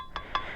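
A metal (stainless, not plastic) signal light protector for a Honda Click 125 motorcycle is tapped twice. This produces two short, bright metallic pings with a ringing tone around 1 kHz that fades quickly.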